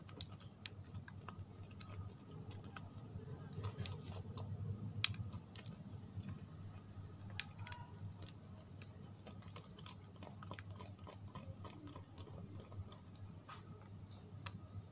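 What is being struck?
Bar of soap.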